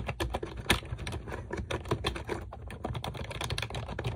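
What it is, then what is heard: Plastic computer keyboard being typed on. Long acrylic nails type rapidly on a pink plastic computer keyboard with round keycaps resting on a desk. The quick stream of sharp plastic clicks and clacks has bright nail ticks over a low, dull thump from the keys bottoming out. Each tap stops almost instantly.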